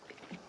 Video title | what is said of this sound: Sweet Rice and Ripened Mangoes Dessert, #thaidesserts,#dessert,#sweetmango, #sweetrice, #easyrecipe | make sure that you shake it you hear it can you hear the juice inside